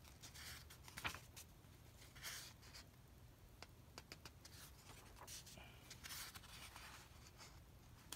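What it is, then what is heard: Paper comic book. A hand rubs across the printed pages of an open paper comic book lying on carpet and turns them. Soft, bright papery brushing and rustling come in uneven swells, broken by short dry ticks and scrapes, with one sharper snap near the start. The whole clip stays quiet over a faint low rumble.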